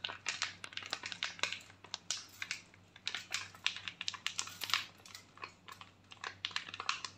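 A foil sachet with a sheet face mask inside is crinkled and scratched with long nails close to the microphone. The result is a steady stream of bright, crisp crackles and sharp scratchy ticks over a faint low hum.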